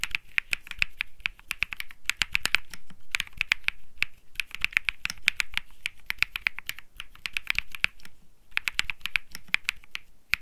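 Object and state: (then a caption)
Mechanical keyboard. Fingertips type rapidly on a compact Think 6.5 mechanical keyboard with Bsun Lollipop switches, an aluminum case, a PC plate and plastic keycaps. Dense bursts of short, crisp clacks carry a bright tone near 2.4 kHz with a soft low thump beneath each press. The keystrokes stop dead with no ring and continue in quick runs with brief pauses throughout.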